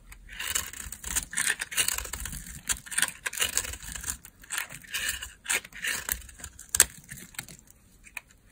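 A solid, pale, dry laundry soap bar, held in a hand with long painted nails, is shaved and scraped with a metal blade into curls and crumbs. Dry, bright, crackly scraping strokes come in quick, uneven bursts, with almost no low end and little ring between strokes.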